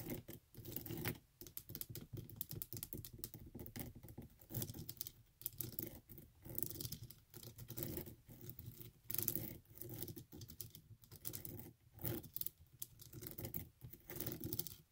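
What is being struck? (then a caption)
Rubber sandal sole. Long acrylic nails tap rapidly on the ridged rubber sole of a flat tan sandal held in both hands. The result is a fast, dense patter of bright, dry clicks with some scratchy strokes and a soft low undertone, each tap dying away almost instantly.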